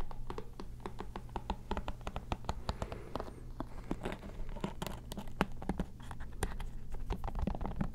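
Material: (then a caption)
Plastic. Painted long nails rapidly tap and scratch the plastic back and cushioned bristle pad of a lime-green plastic paddle hairbrush held close to the microphones. Quick, sharp clicks mix with scratchy rustling over a steady low hum throughout.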